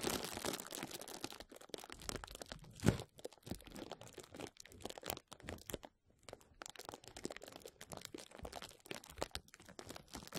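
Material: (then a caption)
Plastic. Clear plastic bubble wrap held over a microphone is rubbed, scratched and squeezed by fingertips, giving dense, dry crinkling and crunching with many small crackles. A louder crackle bursts out near the three-second mark, and the rustling briefly drops to silence before resuming at a steady, soft level.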